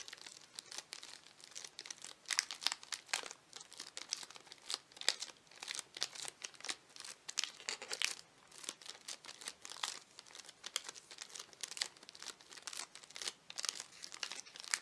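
Fingertips squeeze and crinkle the crinkly plastic wrapper of a full chocolate wafer bar held in both hands, with some tapping mixed in. The sound is a quiet, steady stream of sharp, bright crackles and rustles with almost no low end, each burst dying away almost instantly.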